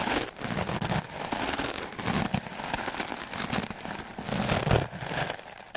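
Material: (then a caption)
Melamine foam. A white, solid, rectangular melamine foam sponge is held in the hand and scrubbed fast and hard with the black bristles of a wooden clothes brush. The result is a dense, continuous scratchy crackle and rustle, with bursts of louder strokes over a low, rough scraping body and bright hiss.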